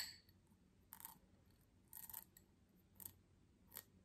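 Long nails tap and scratch the patterned base of a small, empty, faceted cut crystal tumbler held up in the air. Soft, bright, scratchy bursts come at irregular intervals, with a brief glassy tick and little low end, over a quiet background.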